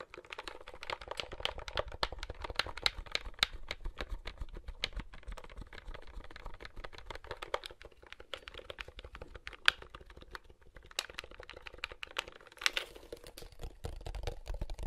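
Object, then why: Plastic handheld game console. A large, hollow, wide black plastic handheld game console is held in both hands while thumbs press its buttons and fingers tap the casing. A steady stream of quick, dry plastic clicks and taps fills the clip, bright with a little low thump, each one stopping dead with no ring.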